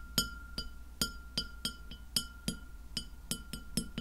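Long fingernails tap a white glass plate lying flat near the mic, making 12 irregularly spaced, crisp clicks. Each tap gives a brief, bright ring with high partials that fades quickly. A faint steady hum and a thin constant tone sit underneath.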